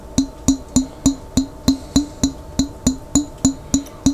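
Steady tapping on a glass jar containing water: 14 even, short taps, each a hollow knock with a low pitched tone and a bright, glassy ring above it that dies away almost at once.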